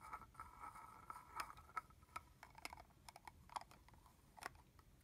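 Fingernails scratch and tap the cap and shoulder of a red plastic body mist bottle that has a cap and holds liquid. Quiet, sharp clicks and taps stand out over a soft, scratchy rustle with a mid-range tone around 1.3 kHz, each tap dying away almost instantly.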